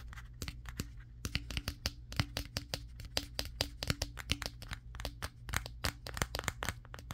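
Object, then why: Smartphone with matte glass back. Fingertips of both hands rapidly tap the matte glass back of a Samsung Galaxy S23 smartphone, the phone doing the recording. The result is a fast, irregular run of sharp, bright, dry clicks that die away almost instantly, over a steady low hum.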